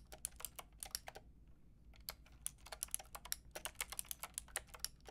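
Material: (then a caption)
Plastic. Fingertips with long red nails type rapidly on a Lofree mechanical keyboard with a white plastic case and round pink and grey plastic keycaps. About 27 short, bright, clicky key taps come in quick bursts, with a brief pause near the middle. A faint low hum runs underneath.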